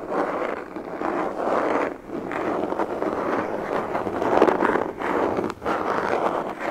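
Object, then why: Molded plastic carry case. A black, semi-rigid molded pistol carry case, hollow and closed, is held upright in the hands and tapped and scratched with fingertips and nails. The result is a steady, dry, papery rasp concentrated in the mid-range, swelling and dipping in short brief pauses with no low rumble and little high-end content.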